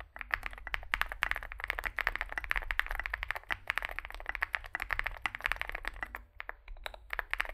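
Fingertips type continuously on a small Zoom65 65% mechanical keyboard with a dark case and white and grey SA plastic keycaps. A rapid, steady stream of short, sharp plastic clacks centers around 2 kHz, with a faint low hum underneath and a brief lull near the six-second mark.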